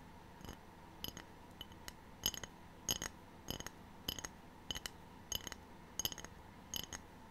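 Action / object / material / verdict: tap / ceramic tray / ceramic / none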